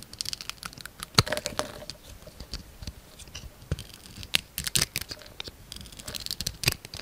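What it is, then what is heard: Bar of soap being shaved with a knife. A yellow utility knife blade shaves and scrapes curls from a palm-sized, solid oval bar of soap held in one hand; the soap is grey with a turquoise outer coating and a white core. The result is a quiet, steady run of crisp, bright scratching and crackling ticks with short, dry clicks and no ringing.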